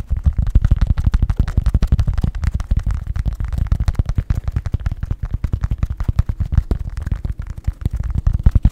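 A hollow purple fabric East Carolina baseball cap with a structured crown is held up to a microphone and tapped and scratched quickly with fingertips and nails. The result is a rapid, continuous stream of short, dry, deep thumps with almost no ring and little brightness.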